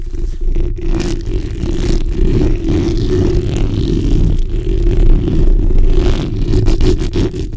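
The backs of long nails scratch continuously across a black, hollow steel mesh microphone grille. The result is a steady, dense, low scratching rumble with a rough band just above the bass. There is little high-end hiss, and the level stays fairly even throughout.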